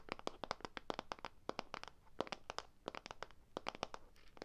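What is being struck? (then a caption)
Plastic tub of play sand. A small rectangular clear plastic tub with a pink label, filled with play sand, is handled in one hand close to the microphone. It makes a rapid, irregular run of sharp, bright crunchy clicks and crinkles with short pauses between bursts. Each click dies away almost instantly.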